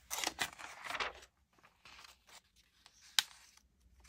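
Fingertips with dark-painted nails lift, turn, crinkle and rub the thin glossy paper pages of an open March 2022 issue of Allure magazine lying on a wooden table. A dense burst of bright, crackly rustling opens the clip, then fades into softer, scattered page whispers. One sharp, crisp snap cuts through near the end.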